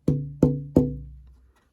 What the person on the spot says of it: Tap it. Tap it here. It really did drop quite a bit.